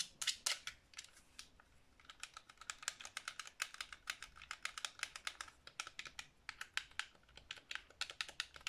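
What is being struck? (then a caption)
Plastic game controller. Long nails rapidly tap and scratch the front and grips of a hollow black plastic Xbox 360 controller as it is turned in the hands. Dozens of quick, bright, clicky taps come in a steady run, with almost no low end and very short decay. The tapping dips briefly softer early on before picking back up.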